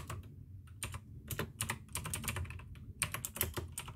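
Fingertips type fast on the keycaps of a full-size pink plastic AUKEY mechanical gaming keyboard with RGB backlight, clicky blue switches and a hollow case. A quick, uneven run of sharp, bright clicks rides over a hollow low thock, with brief pauses between bursts of keystrokes.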